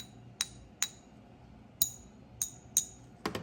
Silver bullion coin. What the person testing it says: silver has that certain ring to it. You know, it's got that ping.